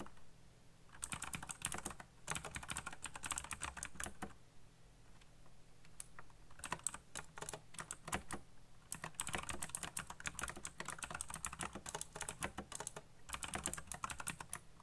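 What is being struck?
Plastic mechanical keyboard.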